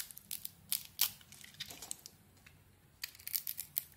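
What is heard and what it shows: A solid white, glitter-covered Isana Med bar of soap is held in the hand while its surface is shaved off with a metal blade. The result is crisp, bright scraping and crunching bursts, with a quieter pause in the middle before a final flurry of cuts.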